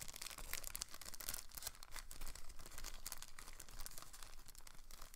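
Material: Plastic film.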